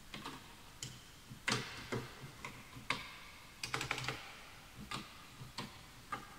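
Both hands type with their fingertips on a full-size bamboo wood computer keyboard with wooden keys, while the mouse goes untouched. The keystrokes are short, dry, bright clicks with a slight hollow knock. They come in irregular bursts separated by quiet pauses.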